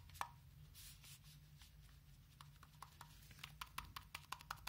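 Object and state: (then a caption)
Loose joystick button rattling. A RADEX OBSIDIAN dosimeter is shaken to show that its plastic joystick-style control button is loose and wobbles. Short, irregular clicking rattles come from the button over a steady low hum.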